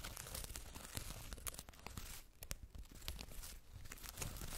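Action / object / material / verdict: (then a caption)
scrape / faux fur fabric makeup bag / faux fur / none. Long red acrylic nails scratch the woven "BEAUTY BAG" fabric tag and fur surface of a soft white faux-fur zippered makeup bag, closed and lying on a fluffy rug. The result is a steady, dense run of quick rustling, tearing-like scratches with bright crackle over a soft low rumble, briefly quieter midway before picking up again.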